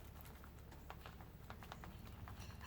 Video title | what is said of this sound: TOPS Silent Hero Kydex Sheath | you can hear the leather hitting the handle of the knife but that's it so it's a very quiet system